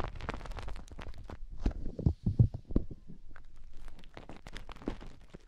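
Long painted fingernails dig into and scratch inside the canals of soft white silicone rubber ear shapes mounted on both sides of a binaural microphone. A dense, irregular run of muffled, low thumps and short scratchy crackles follows, with a louder cluster of deep rubbing thuds near the middle. It then settles back into quieter, steady scraping.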